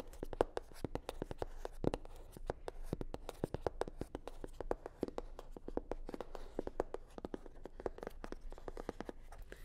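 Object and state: Hollow faux leather sunglasses case.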